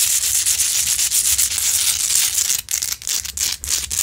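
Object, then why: Large rock-salt lamp. Long nails scratch hard across the grainy crystalline surface of a large solid rock-salt Himalayan salt lamp, close up. The result is a dense, bright, gritty rasping, steady for the first two and a half seconds. It then breaks into shorter strokes with brief gaps between them.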